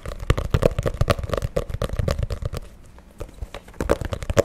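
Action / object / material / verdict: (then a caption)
tap / spiral-bound paper notebook with cardboard cover / cardboard / none. Fingertips and nails rapidly tap and scratch the printed Hello Kitty cardboard cover of a small spiral-bound paper notebook held beside the mic. The result is a quick, irregular patter of short, dry, dull knocks with a hollow midrange tone, briefly easing into quieter scratching around the three-second mark before the taps pick back up.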